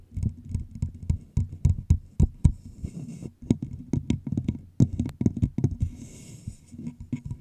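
Fingertips and long nails tap and scratch the sides of a hollow, empty clear plastic bottle with a red label held over the mic. About two dozen short, dry taps land in an irregular rhythm, each a low, hollow thump that dies almost instantly. Brief bright scratchy rustles fill some of the gaps between them.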